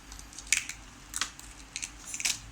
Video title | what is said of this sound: หมูหันย่างหนังกรอบๆ, ย่านคลองสามวาหนังกรอบเกิ้น | หนังเค้ากรอบมากอ่ะ